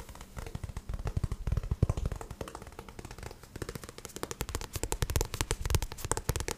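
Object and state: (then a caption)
Paperback book. Fingertips tap and scratch the glossy card cover and spine of a paperback book in a rapid, uneven stream of short, dry taps. Soft low thumps mix with bright, scratchy clicks, growing denser and brighter in the second half.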